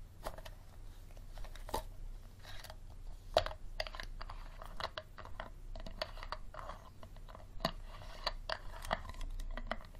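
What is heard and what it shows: An empty, clear plastic bottle held sideways has its green plastic screw cap tapped and scratched with fingernails. Quiet, crisp clicks and scratchy rasps come in irregular clusters over a low steady hum, with a few sharper taps standing out.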